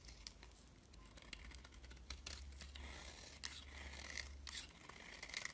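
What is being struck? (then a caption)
Bar of soap scraped with a metal blade. A metal utility knife blade shaves and scrapes curls from a rectangular solid white bar of soap with blue specks, held in the hand, as shavings pile up around it. The sound is a quiet, continuous run of crisp, bright scraping and crackling, with brief louder snaps over a faint low hum.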